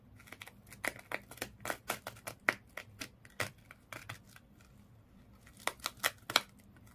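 A small fish toy wrapped in colored twisted sisal/jute rope lies flat while fingers and nails scratch and rub along the rope body. Quick, dry, bright scratching strokes come in bursts, with a pause in the middle before a final cluster of sharper scrapes.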